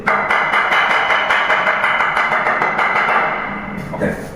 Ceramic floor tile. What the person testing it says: 这个还是有一点点空心可是它空不完那个声音还不是这么明显